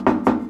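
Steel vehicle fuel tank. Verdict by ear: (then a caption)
Empty. Two knocks on the metal gas tank of a Bronco II during its removal give a hollow, drum-like thud centred near 250 Hz that fades within about a tenth of a second. The tank sounds empty, holding no more than about a gallon.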